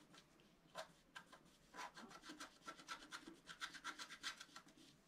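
A pointed wooden stylus scratches a flat A4-size scratch-art card, with a black coating over a colored foil layer, resting on a table. The sound is a quiet, uneven run of short, bright, raspy strokes that cut off quickly.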